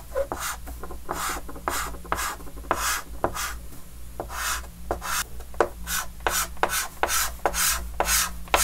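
A white chalk stick rubs and scratches strokes across a large, flat, dark green wooden-framed chalkboard. Each stroke is a bright, dry rasp, starting with a sharp tap and spreading into breathy scraping. A low steady hum runs underneath.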